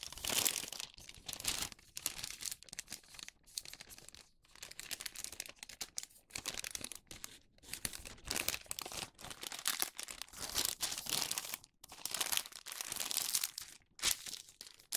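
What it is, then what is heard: Wax paper sheet. A thin sheet of printed wax paper is folded into a tube to make a paper bag, its edges creased and rubbed with fingertips. Dense, bright crinkling and crackling comes in uneven bursts separated by brief quiet gaps, with almost no low end.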